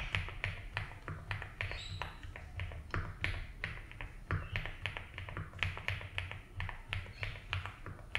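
Fingertips type slowly on a 75% mechanical keyboard with ABS keycaps in a light blue plastic case. The result is a steady stream of short, bright plastic clicks and taps over a low hum.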